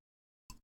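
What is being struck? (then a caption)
Coffee mug. A mug of coffee is tapped once, giving a short, dull knock with a low thump and a brief bright edge. It dies away almost at once in a fraction of a second.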